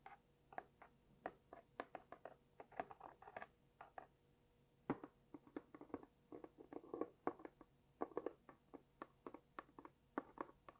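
A small, hollow, closed pink cardboard gift box with white dots and a label is tapped and scratched with long dark-painted nails while held close to the mic. The result is a quiet, uneven series of dozens of short, dry taps with soft scratching between them. The sound sits in the mid-range, with almost no low thump and no ring after each tap.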